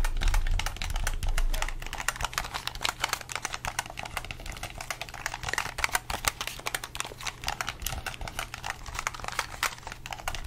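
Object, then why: Plastic game controller. A hollow red plastic gamepad, held close to the mic, has its buttons and triggers clicked and tapped with the fingertips. The result is a fast, uneven stream of short, dry clicks with bright edges over a steady low rumble, slightly louder in the first couple of seconds.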